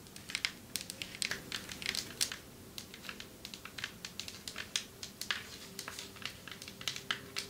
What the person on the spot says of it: Long nails tapping on marble table 6:33 - 10:18